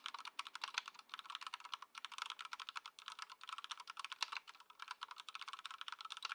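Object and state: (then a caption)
Plastic mechanical keyboard. Both hands' fingertips type continuously on a compact white Ducky One 2 SF mechanical keyboard with plastic keycaps, in its stock, unmodified setup, resting on a dark mat on a wooden desk. A steady stream of quick, bright, clacky keystrokes sounds with no low end, each click dying away almost instantly.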